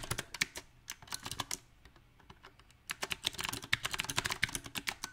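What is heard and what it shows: Fingertips of both hands type unevenly on a small 68-key backlit mechanical keyboard with round typewriter-style plastic keycaps on a silver metal plate. Bright, sharp clicks and clacks come in irregular bursts, with a quieter stretch of scattered taps in the middle before fast typing resumes. Each keystroke is short and dry, with almost no ring.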